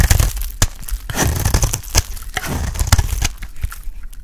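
A solid, dry, pale green bar of soap held in the hand is shaved and cut with a metal blade. It makes a rapid run of crisp scraping and cracking cuts, with short crumbly crackles over a low, dull body. Each cut dies away almost instantly.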